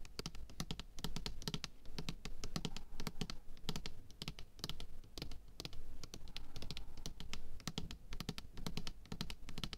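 Long painted fingernails tap rapidly on the label side of a large, apparently full, 500 g white plastic bottle of craft glue held in one hand. Quick, dry clicking taps come in dense bursts with short pauses between them, over a steady low hum.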